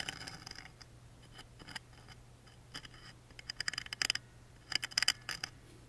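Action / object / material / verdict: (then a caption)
scrape / small engraved wooden lid scratched with a wooden toothpick / wood / none. A wooden toothpick scratches and traces the engraving on the small engraved wooden lid of a music box. Dry, bright scratching comes in short, quick strokes over a faint steady low hum, with quieter gaps between bursts. The strokes turn sharper and louder toward the end.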